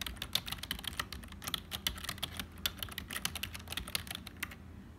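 Fingertips of both hands type continuously on a black HP full-size plastic keyboard with a hollow body. Rapid, bright, clicky key taps stream by with very short decay, peaking around 3.6 kHz. A faint steady low rumble sits underneath.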